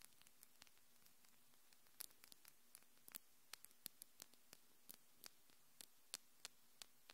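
Long, hard, thin pink acrylic nails with purple glitter tips are tapped against each other by the fingers of both hands just above a Tascam recorder, which is not touched. About 27 quick, sharp, bright nail-on-nail clicks sound with very little ring, spaced irregularly over a faint low hum and soft hiss.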